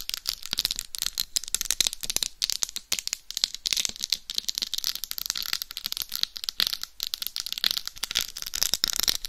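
Long acrylic nails scratch and tap across the face of a life-size, hollow, mannequin-style binaural dummy head microphone fully encrusted with small faceted rhinestones. The result is a dense, steady stream of crisp, bright clicks and scratchy rattling, almost entirely high-pitched, with each tap dying instantly and no ring.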